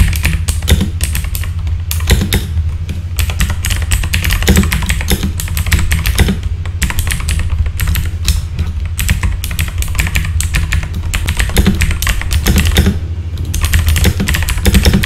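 Fingertips type steadily on a full-size backlit mechanical keyboard with plastic keycaps. Dense, rapid clacks continue throughout, each a short bright click over a constant low hum.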